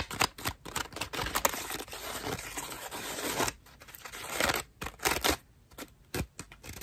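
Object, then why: Foam bath loofah. Long nails scratch and scrape the ruffled petals of a cream foam bath loofah up close. The result is a run of dry, crackly, bright scratching bursts separated by brief quiet gaps, with little low end.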